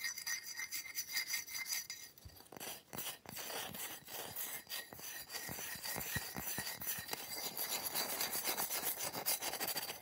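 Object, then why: Slab of ice. Fingertips and nails scratch and tap the surface and edge of a large flat slab of solid frosted ice, held up and resting on a towel. The result is a fast, irregular stream of bright, dry rasping scrapes mixed with short, sharp clicks that barely ring, with almost no low end.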